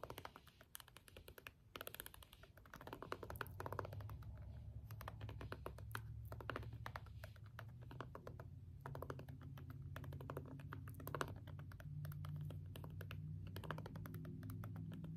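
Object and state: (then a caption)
Plastic remote with rubber buttons being pressed. A green jade stone face roller is rolled over and pressed onto a small hollow plastic LED remote with rubbery push buttons. Many quick, soft button clicks and taps come in an irregular stream over a low, steady hum that grows slightly louder after the first few seconds.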